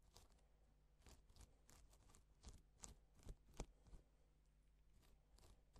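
A gloved fingertip strokes across a flat, reversible pink and silver plastic sequin fabric sheet, flipping the sequins over to draw letters. This produces quiet, irregular bursts of bright, scratchy clicking and rustling, with a few sharper clicks near the middle. A steady low hum sits underneath throughout.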